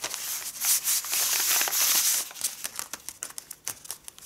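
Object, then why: Sheet of kraft paper. A folded, thin, flat pink-tinted kraft paper sheet lying on a cloth with a zodiac print is rubbed and pressed across by fingertips with long red-painted nails. First comes a sustained bright, hissy crinkling that swells and holds loud. It then breaks into quieter, uneven crisp rustles and taps with almost no low end.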